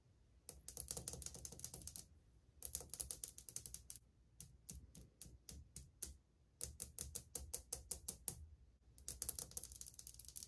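Long painted fingernails tap across old glazed ceramic subway tiles on a wall, the tiles flat and solid as the hand moves along. Quick, bright clicking taps come in rapid bursts separated by brief pauses, each tap dying away almost at once over a faint low rumble.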